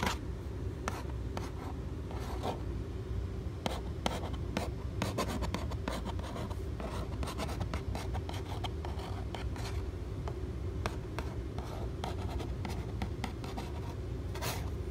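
Fingernails scratch and trace across the front face of a medium-size Kodiak Cakes cardboard pancake mix box, likely full. A steady run of dry, brief scratching strokes flicks bright over a constant low rumble, holding at an even, soft level throughout.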